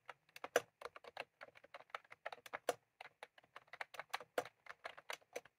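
Fingertips of both hands type continuously on a full-size plastic computer keyboard with round cream typewriter-style keycaps, resting on a desk. About thirty quick, dry clicks land in an uneven rhythm, each snapping off almost instantly with a midrange tap and a bright edge. There is no low-end thump beneath them.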